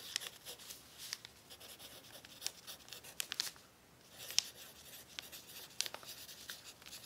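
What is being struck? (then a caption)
Crumpled thin paper sheet under a pencil tip. A pencil tip scratches across a thin, crumpled brown paper sheet resting on a table during continuous writing. The result is a quiet, bright, papery scratching and crinkling, broken by sharp little ticks and a brief pause near the middle.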